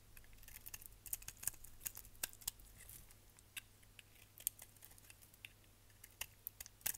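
A solid orange striped bar of soap is held in the hand and scraped with a utility knife blade, sending chunks and flakes coming off. Quick, dry, crisp scraping clicks and crackles come in an irregular string over a faint steady low hum. The bright snaps stop almost instantly with no ring.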